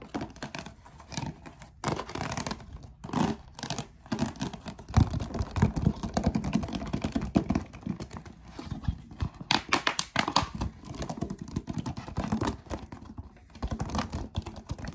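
A clear, ridged, hollow and empty plastic water bottle is held in the hands and tapped and scratched with the fingertips. Fast, irregular taps and crinkly, scraping scratches come in quick bursts, with dull low thumps under short bright clicks that die away almost at once.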